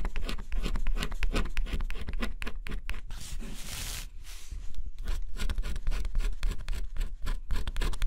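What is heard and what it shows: A small metal scraper held in the fingers scratches the black scratch-off coating off near the edge of a flat, solid cardboard jigsaw puzzle piece. Quick, dry scratching strokes repeat in close succession, easing into a softer, smoother bright scrape in the middle before the rapid scratching picks up again.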